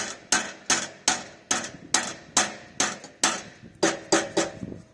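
A soft hammer taps the rusted steel exhaust of a Porsche Boxster 986 eleven times, each hit giving a bright metallic clank with a short rattling buzz after it. The exhaust has missing heat shields and a missing bracket, and a cracked section is leaking. The rattle points to loose internals, a fault.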